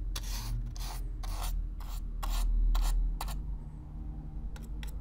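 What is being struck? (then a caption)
Corrugated cardboard box. A stiff black-bristle brush is stroked back and forth across the surface of a hollow brown corrugated cardboard box, close up. Each stroke gives a bright, dry, raspy scratching swish in a steady, somewhat uneven rhythm, over a constant low hum.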